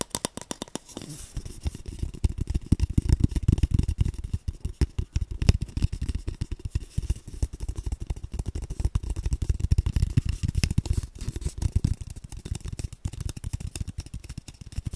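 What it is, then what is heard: Cardboard paper tube tapped. An empty, hollow brown cardboard tube is tilted at various angles and tapped with the fingertips. Rapid, continuous taps give short, dry, low hollow thumps with almost no high end and no ringing. The tapping runs steadily through the whole clip.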